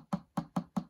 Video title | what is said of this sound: How I Built Cheap Garden Railway Carriages (16mm Scale) | you can hear it has the same sound when you tap it. That is absolutely rock solid.